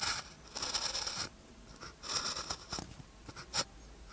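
A blue ballpoint pen tip scratches across a thin paper practice sheet with a red grid, lying flat, while writing characters. Short bursts of dry, bright scratching come and go, with longer strokes and quick flicks, and very little low end.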